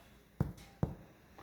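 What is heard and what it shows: Finger percussion on a human chest wall above the nipple line, over the lung, gives two distinct low, hollow thuds about half a second apart and a faint third tap, each fading quickly. The note is clear and resonant, which is normal lung resonance.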